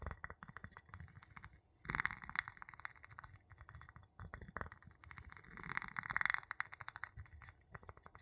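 The tip of a wooden pestle taps and rubs the bottom of an empty clear glass jar with a gold metal lid, held in the palm. Rapid, dry clinking taps with a bright glassy tone near 2 kHz mix with scratchy rubbing in quiet bursts. Each tap stops short with almost no ring.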